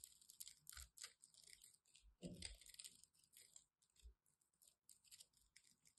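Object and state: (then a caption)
Bar soap being cut. A solid white embossed bar of soap is chipped and cut with a craft knife blade, giving a quick run of crisp, bright scraping and crunching bursts. Soft low thumps sit beneath the cuts, and each burst dies away quickly.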